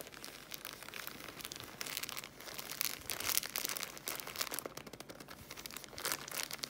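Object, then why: Pocket tissue packs in thin plastic film. Long manicured nails and fingertips tap and scratch the thin plastic film wrap on a bundle of three small, soft paper pocket tissue packs held in one hand over a tablecloth. The result is a steady stream of bright, crisp crinkles and quick ticking taps with almost no low end, swelling and easing in small bursts throughout.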